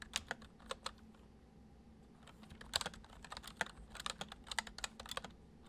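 Fingertips type on a full-size white plastic computer keyboard resting on a wooden desk, including keys on the number pad. Short, bright plastic clicks come in bursts, with a quieter pause in the middle, over a faint low hum.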